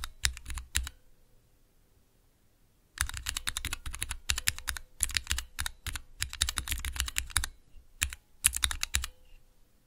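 Fingertips press and tap the clear plastic keycaps of a small 3x3 switch tester with Cherry MX switches in a clear plastic base, resting on dark velvet. A short burst of sharp, bright clicks and clacks is followed by a two-second pause, then a steady run of rapid keystrokes with low thocks and crisp, quickly fading clicks, broken by brief gaps.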